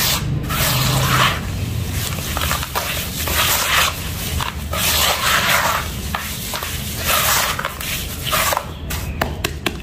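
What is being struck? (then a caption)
Loose dirt powder rubbed by hand. Bare fingertips and a palm rub, press and scratch through a large bowl of loose, dry, crumbled red dirt powder. A steady, gritty rustling and scraping runs throughout, swelling into brighter, hissy bursts of friction with each pass and fading slightly between strokes.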